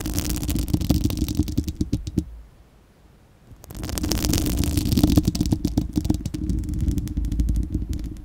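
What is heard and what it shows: Long acrylic nails of both hands scratch a bare, hollow, dome-shaped round steel-mesh microphone grille, making a dense, boomy, crackling rasp with rapid clicks over a heavy low rumble. The scratching stops for about a second and a half, then resumes just as thickly until the end.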